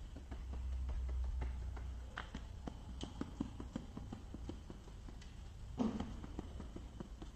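Fingertips and nails tap rapidly on the clear side of a small plastic case with a green lid and a boxed product inside, then move to the green lid. The taps come as quick, light, irregular clicks with short decay over a steady low rumble, with a slightly louder scrape-like burst near the end.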